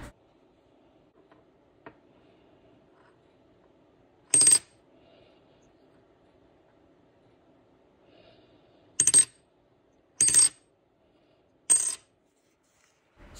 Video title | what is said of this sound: Touching My Brand New 24K 99.999% Pure Gold Coin for the 1st Time | let you know what a real gold coin sounds like